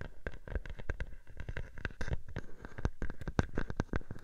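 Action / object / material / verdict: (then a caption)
tap / plastic bubble wrap sheet / plastic / none. A clear plastic bubble wrap sheet draped over a microphone is scratched and tapped by long painted nails. It produces a rapid, irregular string of short, crisp clicks and scratches over a low, muffled thump, with each tap dying away almost instantly.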